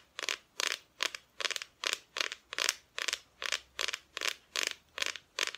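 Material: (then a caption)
Plywood. A flat, thin, solid plywood Christmas decoration cut-out with a painted front is tapped and scratched with long nails. About fifteen short, dry, bright, scratchy bursts arrive in a steady rhythm of roughly two and a half per second. There is almost no low end and no ring after each stroke.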